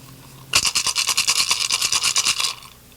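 A turtle shell shaker with pebbles inside is shaken while its mouth is held closed, after more pebbles were added. After a quiet start, about 14 quick, bright, dry rattling bursts come in a loosely steady rhythm for two seconds, then stop. It is judged to have the right sound with the right amount of pebbles, and the mouth is then wired shut so none are lost.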